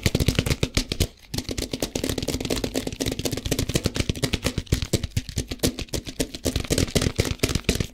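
A plastic tub filled with rice, held in both hands close to the mic, has its sides and lid tapped quickly with fingertips and nails. The result is a rapid, steady stream of short, dry taps with a hollow low thump and a crisp bright edge, broken by a brief pause near the one-second mark.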